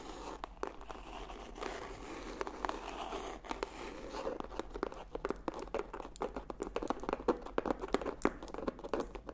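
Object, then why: Hardcover paper book. Dozens of quick, dry fingernail clicks and scratchy rustles on a hardcover book, with no ring at all.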